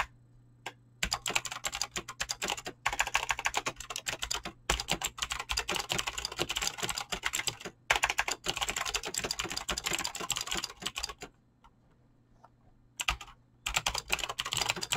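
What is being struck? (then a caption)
Mechanical keyboard with clicky switches and PBT plastic keycaps. Fingertips type fast on a Razer BlackWidow mechanical keyboard with clicky green switches and pink-blue dyed PBT plastic keycaps, making rapid, bright, sharp clicks in dense bursts. Typing pauses briefly near the start, around eight seconds, and for a longer gap just before the end. A steady low hum runs underneath.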